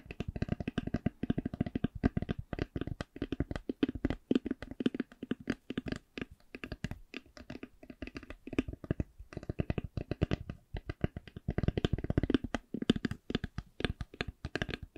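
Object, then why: Faux leather-covered hard eyeglass case. Long glittery nails tap and scratch a hollow black Ray-Ban hard eyeglass case covered in faux leather. The taps come as a steady stream of short, dry clicks with a hollow low-mid body, mixed with light scratching, and they die out almost instantly. The pace shifts between slower and quicker bursts with brief pauses.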